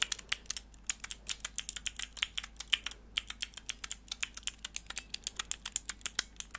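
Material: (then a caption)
Plastic. Long nails press and click the grey plastic keycaps on a small, hollow, clear plastic mechanical keyboard switch tester with four mechanical switches, held in the hands and moved near the microphone. About 45 sharp, bright, dry clicks come in quick, irregular succession with a brief pause just before the 3-second mark. There is almost no low end and each click dies away instantly.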